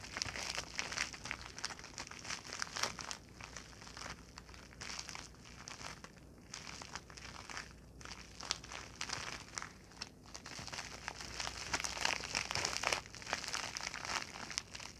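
Long nails and fingertips crinkle, rub and scratch an empty, shiny white-silver plastic padded bubble pouch while it is held and pressed flat. The result is a steady, irregular stream of bright, crackly crinkling and scratchy rasps with short, dry taps, growing slightly louder toward the end.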